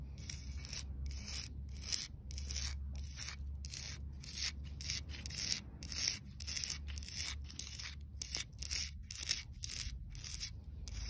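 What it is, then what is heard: Concrete paving tile scratched with nails. Long dark-red nails scratch along the grooves of a solid grey cast-concrete paving slab embossed with a floral design. Bright, gritty rasping strokes come in a quick, uneven rhythm, each short and dry, over a steady low rumble.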